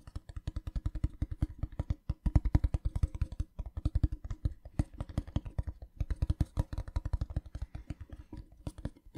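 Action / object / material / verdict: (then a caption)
tap / small printed metal tin box / metal / none. A small, hollow, rectangular printed metal tin, held in one hand, is tapped rapidly with fingertips and nails, about seventy quick taps with only brief pauses. Each tap gives a short, low, hollow knock with a faint clicky edge that dies away almost at once.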